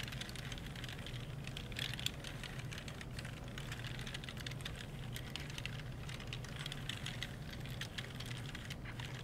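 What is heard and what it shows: A gloved hand wipes and rubs the left edge and keys of a black plastic computer keyboard with a disinfectant wipe. Soft, bright rubbing and rustling is heard, with many quick, light key clicks over a steady low hum.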